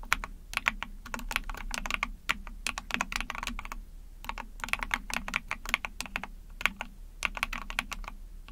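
Rapid typing with long painted nails and fingertips on a small 44-key Epomaker TH40 mechanical keyboard with an ABS plastic case, PC plate, and backlit pink and white keycaps. Quick bursts of bright, sharp clacks sit over a steady low hum, each keystroke dying away almost instantly.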